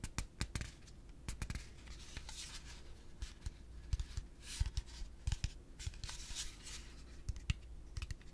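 A yellow hollow plastic pig piggy bank is held in one hand and tapped quickly with the fingertips and nails. The result is a run of short, dry clicks and soft scratchy taps in uneven bursts, with bright brushing textures over a low, steady hum.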